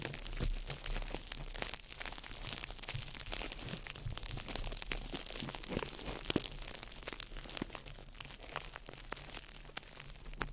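A small ball of crumpled clear plastic wrap is crinkled by fingertips over the mic, producing a steady, dense stream of sharp, bright crackles and crunches. A low rumble runs underneath throughout the clip.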